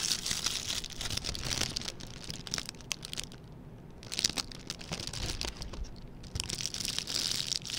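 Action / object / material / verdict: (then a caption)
scrape / metallic plastic gift bow / plastic / none. A small, red, shiny metallic plastic ribbon gift bow is held in both hands while its loops are squeezed and crinkled with the fingertips. A dense stream of bright, crisp crackles and crinkles plays continuously, easing into a quieter stretch midway before picking back up to full intensity.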